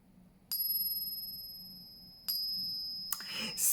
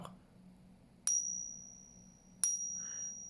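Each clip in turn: First: Two bright, high pings that ring clearly, yet leave it unclear whether this low-silver coin passes as silver. Second: Two bright taps ring very high and clear, the sharp tone of a copper coin rather than silver.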